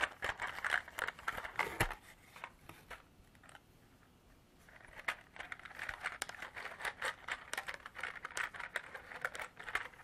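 Long artificial nails tap and scratch a small clear hard-plastic container, held in the hand and partly filled with small beads, as the beads rattle inside. Dense, crisp clicks and scratchy crinkling center around 1.7 kHz and reach up into bright highs, with little low end. A quieter lull falls between about 3 and 4.7 seconds before the busy tapping and rattling resume.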